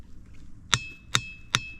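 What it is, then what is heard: Ringing boulder (rings like a bell). A boulder at Ringing Rocks Park is struck with a hammer three times. Each strike gives a clear, bell-like clang with high ringing tones, unlike a dull rock.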